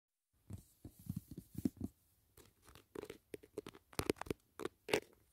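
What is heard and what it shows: Fingertips and short nails tap and scratch the lid of a large, flat, closed white rigid cardboard gift box holding a Dashing Diva nail set, resting on a grey blanket. Quiet, papery taps and scratchy rasps come in irregular bursts with short gaps between them, each dying away quickly with a dull, mid-pitched body.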